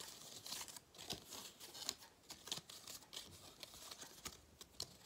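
A gold foil cardboard galette des rois crown from 2022, with cut-outs, is bent and crinkled between the fingers while nails scratch across its foil surface. The result is a quiet, dry, bright crackling and scraping texture, punctuated by sharp, high crinkles with almost no low end.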